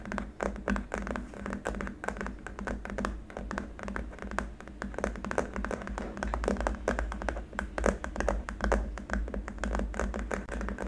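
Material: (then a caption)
Plastic. Both hands tap the fingertips and short nails rapidly across a long, flat, solid white hard-plastic keyboard wrist rest. The result is a dense stream of quick, dry clicks and knocks that stop almost instantly, over a steady low hum.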